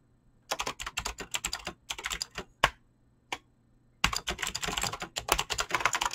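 Fingertips with short painted nails type fast on a full-size mechanical keyboard with Razer green clicky switches and pink-blue PBT plastic keycaps, resting on a desk. Crisp, bright clicky keystrokes come in rapid bursts, with a pause broken by a couple of lone key presses. Then dense, fast typing resumes through the end.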